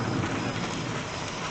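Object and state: Nothing is struck.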